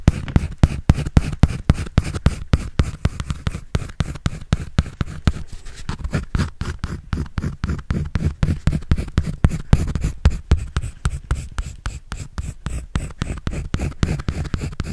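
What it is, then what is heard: Pencil strokes on a paper sketch pad. A pencil makes rapid shading and scratching strokes on a white paper sketch pad held by hand. The strokes repeat about four times per second in an uneven rhythm, each a short, dry scrape with a soft, low-weighted body and little ring. They continue steadily for the whole clip.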